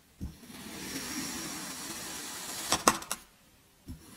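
A metal kitchen knife slices through a solid cylindrical block of teal kinetic sand, cutting it into slabs. A steady, soft, bright hiss of the blade drawing through the sand is followed by a few sharp, crunchy crackles as the slab breaks away, then near silence with a faint low tap at the end.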